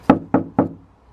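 Three knocks on the inside panel of an Xterra tailgate, which has Dynamat bits and underhood heat foam added to the back of the panel as sound deadening. Each knock is a short, dull thud centered in the low mids, with little high end and almost no ring. The panel sounds less hollow than before and comes across as solid.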